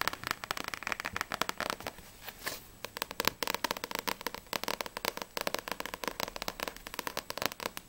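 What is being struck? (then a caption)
Paperback book with glossy paper cover. Long acrylic nails tap rapidly on the front and back of a small, solid paperback manga book, Blue Exorcist volume 1, with a glossy paper cover. Dozens of quick, dry, bright clicks arrive in uneven bursts, each stopping instantly with no ring and almost no low end.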